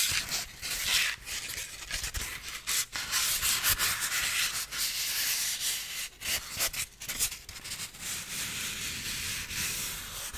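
A solid piece of white styrofoam is rubbed slowly with flat fingers, making a steady, hissy, squeaky friction. The sound is mostly bright, high-pitched rasp with little low end, swelling and dipping briefly as the strokes change over about ten seconds.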